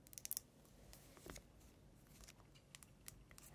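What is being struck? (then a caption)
Wax-filled glass candle jar with metal lid. Long nails tap and scratch the sides of a tall cylindrical glass Yankee Candle jar filled with peach wax and topped with a silver metal lid, held in both hands. A quick burst of sharp, bright clicks comes first, followed by quieter scratching and a few scattered taps with no ringing after each one.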